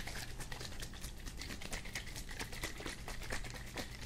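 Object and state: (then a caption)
Plastic spray bottle with liquid. A hand-sized green plastic spray bottle, hollow, partly filled with liquid and resembling a Febreze-style bottle, is held in one hand and shaken beside the microphone. The liquid sloshes in a steady run of quick, bright, splashy taps over a constant low rumble, with a faint ringing tone near 2 kHz throughout.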